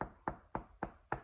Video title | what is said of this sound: 1995 Land Rover NAS Defender 90 for sale, excellent restoration | you can hear that. So that right there, that is the sound deadening and soundproofing material that we put inside of that door.